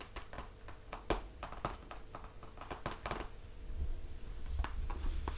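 Fingertips tap the laminated cardboard cover of a closed hardcover picture book lying flat, making a quick series of soft, dull taps with almost no ring. The book is then lifted and held up with manicured nails on its edges, adding light rustling and handling noise over a steady low hum.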